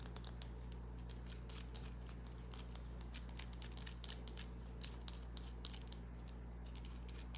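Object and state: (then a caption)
Bar of soap. A small, solid green bar of soap is tapped and scratched with long nails. Quiet, irregular bright clicks and scratchy ticks come in loose clusters over a steady low hum.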